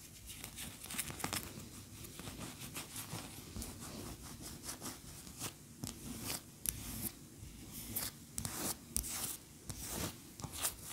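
A large cream-colored solid wax pillar candle standing upright is scratched with long fingernails. The result is a quiet, continuous run of dry, rasping scratches and rubs, with bright, crisp bursts of grit flaring up again and again over a soft low rumble.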